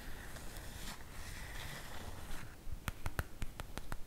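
Fingertips and nails scratch across a sprinkle-print cotton fabric makeup bag lying flat on a table. A soft, steady scratchy rustle fills the first two and a half seconds, then gives way to seven sharp, bright clicks at uneven intervals.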